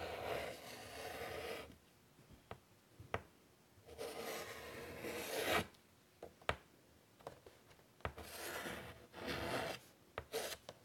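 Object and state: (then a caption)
Chalk drawing on a chalkboard. White chalk held in the fingers draws curved lines across a large, flat chalkboard set in a wooden frame. Long scratchy, rasping strokes come in bursts, separated by quiet pauses. Sharp taps and clicks mark where the chalk meets or leaves the board.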